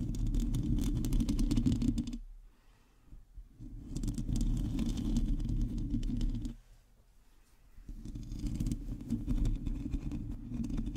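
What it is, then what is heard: Metal mesh microphone grille being scratched. Long teal acrylic nails on both hands scratch the hollow, domed metal mesh grille of a black condenser microphone. The result is a dense, close, low rumbling scrape with a steady hum around 200 Hz. It drops to near silence twice, at about 2 to 4 seconds and 6.5 to 8 seconds, before the scratching resumes.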